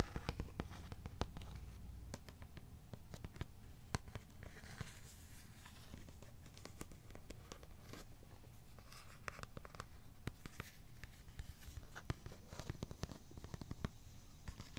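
Fingernails scratch and tap across the front of a thin, hollow white molded plastic hockey mask with red painted markings, held up in the air. Quiet, dry, rapid clicks and scratchy brushes patter irregularly over a low, steady rumble, each tap dying away almost instantly.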